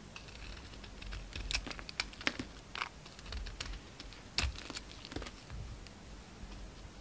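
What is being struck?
Bar of soap scraped with a knife blade.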